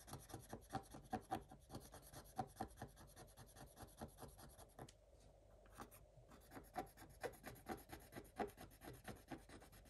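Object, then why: Coated scratch-art paper page scratched with a wooden stylus. A thin wooden stylus scratches quickly across a black-coated scratch-art page in a spiral-bound Paw Patrol scratch book. Dry, raspy strokes come in rapid, irregular bursts with sharp little scrapes. The scratching pauses briefly around the middle, then resumes.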